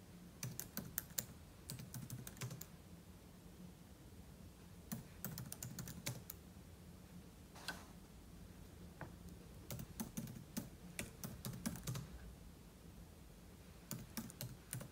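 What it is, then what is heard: Laptop keyboard typing. Fingertips type steadily on a silver aluminum laptop keyboard with plastic keys, producing bursts of short, bright clicks separated by brief pauses. The taps are crisp and quick to fade over a low, steady hum.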